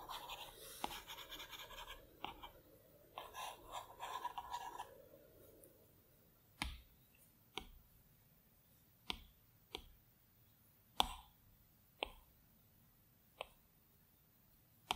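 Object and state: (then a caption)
Stylus taps on a glass touchscreen. A plastic Apple Pencil tip works on the glass touchscreen of a large iPad Pro resting on a plaid cloth. For the first five seconds it makes soft, scratchy, bright drawing strokes. Then come eight separate sharp, dry click taps on the flat glass as it selects tools and picks colours on the colour wheel, each dying away almost instantly into near silence.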